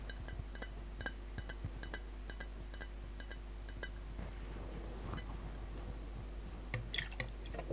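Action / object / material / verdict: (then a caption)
tap / glass jar filled with liquid and glitter / glass / none. Long dark-painted nails tap the glass side of a large hand-held glass jar with a gold lid, filled with red liquid and glitter. The taps make quick, bright clinks with a short ring near 1.9 kHz over a steady low hum. Later come softer shuffling sounds and a final cluster of sharper, brighter clicks.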